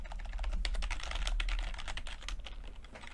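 Fingertips of both hands type continuously on a full-size plastic computer keyboard with red and blue backlit keys and low-profile keycaps. A fast, uneven stream of light, bright key taps plays over a steady low hum.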